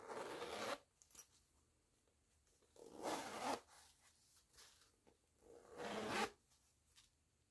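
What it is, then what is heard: Canvas pouch zipper. Fingertips with long nails run the metal pull of a green nylon zipper on a small woven canvas pouch with a floral print, opening and closing it. Three bright, rasping zip strokes sound, each about a second long, with quiet pauses and faint small clicks of handling between them.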